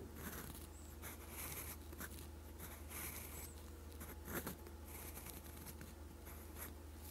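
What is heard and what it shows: A steel fountain pen nib scratches continuous strokes of Korean letters in green ink across a sheet of lined writing paper. Soft, bright scratchy bursts come in short strokes over a steady low hum, with one louder scrape near the end.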